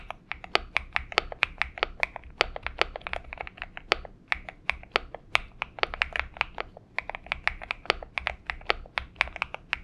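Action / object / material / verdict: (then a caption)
tap / mechanical keyboard with plastic keycaps / plastic / none. Fingertips of both hands type on a purple Xinmeng M71 mechanical keyboard with PBT keycaps. A steady, rapid run of sharp, bright keystroke clacks follows, each dying away at once over a faint low background hum.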